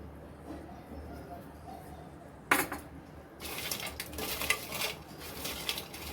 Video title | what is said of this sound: मिरचीची भाकरवडी..कुरकुरीत. | बघा किती कुरकुरीत आवाज येतोय.